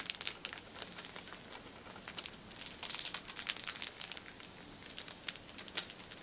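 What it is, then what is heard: Plastic-wrapped pack of paper tissues. A single painted fingernail taps and scratches the top of a cellophane-wrapped pack of paper pocket tissues, a plastic-film-wrapped stack of filled tissue packets resting on a table. The result is a steady run of quick, bright crinkles and sharp ticks with almost no low end. Each tick dies away instantly over a soft, hissy rustle.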